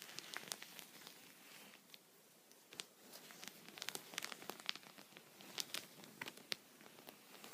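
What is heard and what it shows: A thin, flexible clear plastic punched pocket lies flat on a soft towel while the upright tip of a wooden pencil taps and pokes it, the other hand resting on the sheet. Quiet, bright crinkly ticks and crackles come in irregular bursts with soft rustling between them, each tap dying away instantly with almost no low end.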